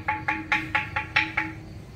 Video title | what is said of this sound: clip156 ltk bonsai lợi nguyên bán đá thạch nhũ, chậu xưa, ổi tím, lựu thái, linh sam, bạch tuyết mai | nó gạn nứt thì cái âm thanh nó không được gian luôn